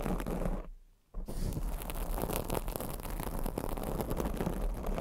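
Long acrylic nails scratch a black foam microphone windscreen, making a dense, muffled, low-heavy rasp. The scratching stops into near silence for about half a second, then resumes as a continuous rough scrape until the end.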